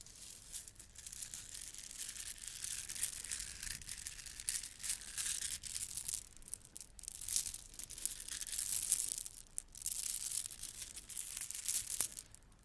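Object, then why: Strand of small plastic beads on a string. A long strand of small, shiny gold plastic Christmas bead garland, solid beads on a string, is held and squeezed in both hands with long red nails, then rolled and shaken. The beads clack together in a dense, bright, crinkly rattle of rapid tiny clicks that swells and eases in waves. It fades near the end.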